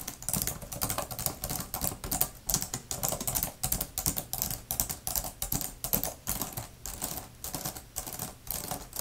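Both hands, using long manicured nails and fingertips, type fast on the plastic keys of a grey laptop-style type-cover keyboard with a fabric-covered palm rest. The result is a steady, dense stream of bright tapping and clicking with a light low thud under each keystroke.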